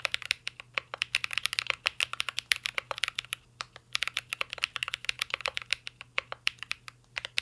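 A mint-green Cyberboard R3 mechanical keyboard with plastic keycaps and a metal case is typed on continuously with the fingertips. About fifty short, bright, clicky key taps come in a fast, uneven stream, each dying away instantly over a faint low hum.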